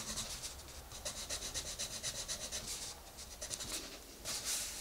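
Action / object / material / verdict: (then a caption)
scrape / coloured pencil rubbed on a paper page / paper / none. A green colored pencil is rubbed back and forth on the page of an open paper coloring book to color in a rabbit. It makes steady, bright scratching strokes in a quick, even rhythm, with a louder burst of scratching near the end.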